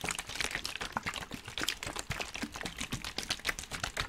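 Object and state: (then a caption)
Plastic water bottle being crinkled. A clear, hollow plastic water bottle, partly filled with water, is held in both hands in front of a microphone and squeezed and crinkled with the fingers. The result is a dense run of quick, bright crackles and snaps with very little ring, and the water inside may slosh softly underneath.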